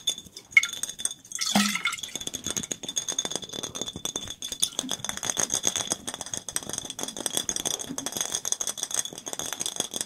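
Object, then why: Glass soda bottle. A clear glass soda bottle with a red round label, hollow and mostly empty with a little liquid, is held up in front of two microphones and tapped and handled with the fingertips. The rapid, bright tapping clicks and clinks come in a dense, rattle-like stream after a brief louder handling sound near the start.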